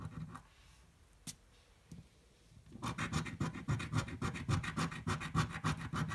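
A coin scratches the coating off a thin red-and-green paper scratch-off lottery ticket held flat on a table. After a near-silent start with a couple of faint ticks, rapid, fairly regular rasping strokes begin at about three seconds and continue to the end, each one a bright, dry scrape over a low thud.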